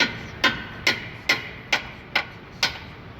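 A hammer taps a new steel ball joint into its hole on a 2014 Hyundai Santa Fe to drive it fully in. Six sharp, bright metallic taps come at a steady pace, each ringing briefly around 2 kHz. The ball joint ends up fully seated, as it should be.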